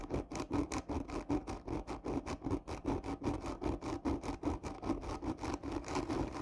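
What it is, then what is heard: Cardboard tube being scratched. Long nails scratch hard across the curved surface of a hollow black textured cardboard gift tube lying on its side. About 30 quick, rasping strokes repeat in a steady back-and-forth rhythm, each with a hollow, papery midrange tone around 300 Hz and only a short ring.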